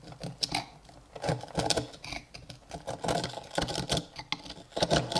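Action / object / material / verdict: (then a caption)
scrape / iron hammer head scraped with a steel chisel / iron / none. A steel chisel scrapes a small, solid rusty iron hammer head without a handle, held in a gloved hand, flaking off its rust crust. Irregular bursts of gritty, bright scratching and short clicks come one after another, each dying away quickly.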